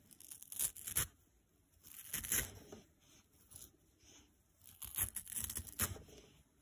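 A green nylon scouring pad is ripped into pieces with fingers and short nails above a wooden table. Several bursts of dry, crisp, bright tearing and fibrous crackling come and go, with brief quiet pauses between pulls.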